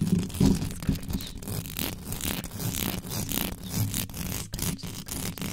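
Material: Metal mesh.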